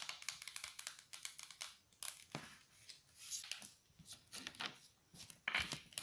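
A small, hollow Corn Flakes cardboard box is held in the hands and tapped with long, dark, polished nails. The result is a quiet, rapid run of crisp, bright clicks and papery scratchy rustles, with almost no low end and very short decay, and a few louder taps near the end.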